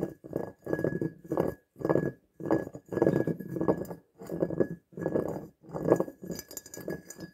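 Long nails tap and scratch the sides and base of a medium faceted glass jar filled with dried flower petals, held in the hands. Short bursts of dry, muffled clicking and scraping repeat with brief pauses, carrying a faint steady tone underneath and almost no ring.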